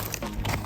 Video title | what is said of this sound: TRYING THE VIRAL TIKTOK DRINK! | all kind of falls off